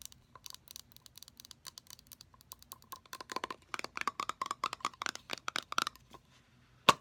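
Long nails tap quickly on the body and domed bottom of a hand-sized pink metallic aerosol can of shaving gel that is pressurized and full. The 32 quick, dry metallic clicks carry a faint ring near 1 kHz with bright highs, building in loudness toward the middle. A pause comes before one final, sharper tap.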